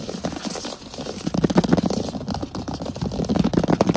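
Fingertips and short nails tap fast on a large solid wood plank floor, close up. The result is a rapid, uneven run of short, dull knocks with a low woody body around 180 Hz and almost no ring, growing denser and louder after the first second.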